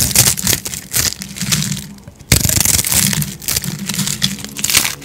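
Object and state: Dry soap crunching under a blade.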